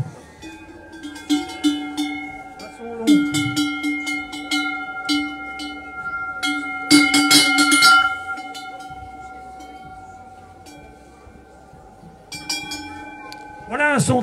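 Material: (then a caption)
Metal. A metal cowbell is shaken, giving a clear, long-ringing tone around 290 Hz with bright overtones. The strikes come in irregular bursts and each ring lingers about a second, distinct from a higher-pitched bell. Rising and falling pitch sweeps are heard briefly near the start and at the end.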